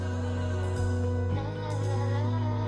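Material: Nothing is struck.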